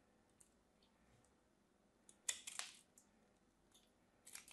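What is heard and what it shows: A thin, solid piece of pink bar soap held in the fingertips is carved with a small craft knife. A few short, crisp, bright scraping cuts stand out against near silence, with faint soft ticks between them. The cuts are quiet and stop without ringing.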